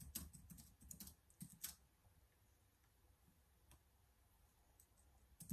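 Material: Plastic.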